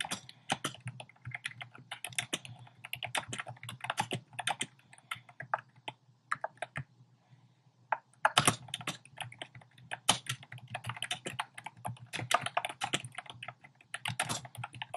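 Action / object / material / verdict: tap / plastic mechanical keyboard / plastic / none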